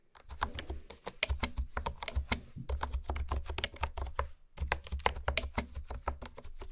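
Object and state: Plastic keyboard being typed on.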